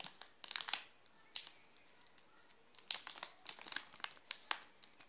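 Fingertips and short nails scratch and press the shiny red-and-blue plastic film wrapper sealing a flat, solid Nestlé Classic milk chocolate bar, about 20 cm long, lying on a pink cloth. Bright, dry crinkles come in irregular clusters of quick snaps with quiet gaps between them and almost no low end.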